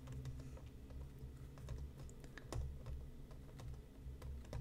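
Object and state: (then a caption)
Cardboard tea box. Fingertips and nails tap the top and side of a closed, hollow, medium-sized printed cardboard tea box resting on a cutting mat. Quick, dry clicks with short ring ride over a steady low hum, most of the energy sitting in the low end.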